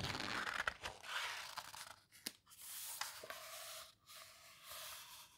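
Hands turn a heavy paper page of a large open photo book, a paper houseboat book, then rub and squeeze the paper with their fingertips. The result is soft, bright rustling and crinkling with a few sharp crackles and faint scraping swells, all at a quiet level.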